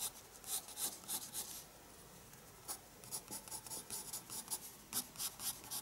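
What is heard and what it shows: A pencil makes dense shading strokes across the page of a small spiral paper sketchbook lying flat on a desk. Quick, bright scratching strokes come in uneven bursts, with a short lull in the middle. The sound is soft and dry, with mostly high hiss and little low end.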